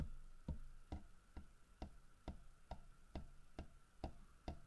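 Fingertips and nails tap on the carved fish and the side of a large, solid carved wooden bear figurine. Ten soft, dull, low knocks land at a steady, unhurried pace, each dying away almost at once. A faint steady mid-pitched tone runs underneath throughout.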